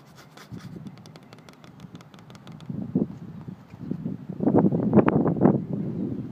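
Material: Wood.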